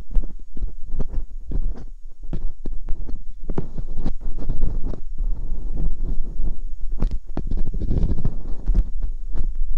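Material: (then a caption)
Silicone. Metal dental picks scratch inside the ear canals of the silicone ear molds on a white binaural microphone. The result is close, muffled rumbling with a steady run of quick, bassy thumps and scrapes, plus brief bright ticks.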